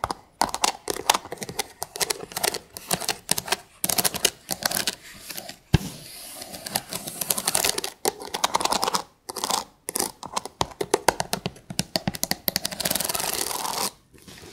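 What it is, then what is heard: Stack of thin wooden sticks. Long pink acrylic nails rapidly tap and scratch across the ridged edges of a stack of thin, light wooden sticks or slats, heard close up. Quick, dry, bright clicks come in dense bursts, broken by longer continuous raspy scraping stretches. Each tap dies away almost at once, with very little low end.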